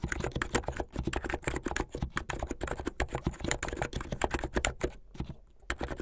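Fingertips type fast on a white and blue plastic mechanical keyboard. A dense, rapid stream of short, dry clacks carries a low thocky body and a bright click on top, each keystroke dying away almost at once. The typing thins to a brief lull near the end, then picks back up.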